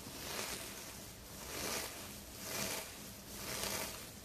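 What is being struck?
Nothing is struck.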